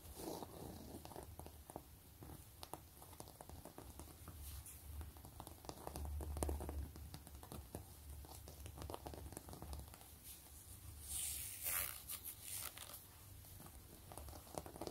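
A long, flat gray quilted wallet with a pebbled faux-leather surface lies on a table while long glittery acrylic nails scratch and trace along its stitched ridges. The result is a quiet, steady, uneven patter of soft scratching with a low rumble underneath. Near the end comes a brief, brighter rasp.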